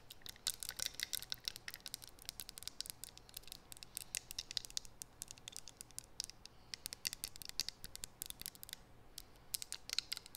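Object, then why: Small glass perfume bottle with metal spray top. Long acrylic nails rapidly tap and scratch a small faceted clear glass perfume bottle with a metal spray top, held in both hands. The result is a quiet, dense stream of dry, bright clicks and light scratches with almost no ring or low end.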